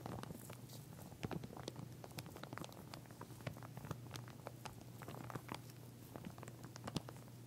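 A pink plastic comb in clear plastic packaging lies flat while long nails scratch and tap over its teeth. The result is a quiet, steady stream of short, dry clicks and crinkly scratches with no ring, over a constant low hum.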